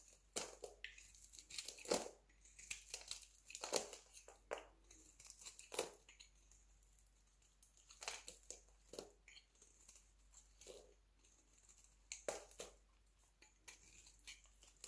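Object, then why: Dry soap bar shaved with a metal blade. A metal utility knife blade scrapes across a solid, hand-sized pink dry soap bar held in the palm, shaving curled flakes off its surface. The clip is a quiet series of dry, crisp crunching and scraping strokes with bright, hissy texture. Each stroke stops quickly, with almost no ring.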